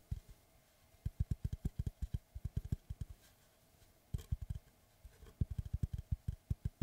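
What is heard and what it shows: Fingertips and nails tap and scratch the flat face of a large, round, solid wooden tree slice with a bark rim, held in both hands in front of the face. About thirty short, dull, low thuds with almost no ring come in quick runs separated by brief pauses. Faint scratchy texture sits underneath.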